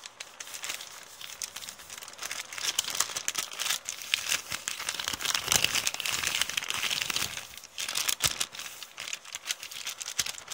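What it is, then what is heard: Crinkled paper shopping bag. An empty, wrinkled kraft paper shopping bag with blue print is scratched and crinkled with long painted nails. The result is a dense, nearly continuous run of bright, crisp crinkling and crackling with sharp snaps, swelling louder through the middle and with almost no low end.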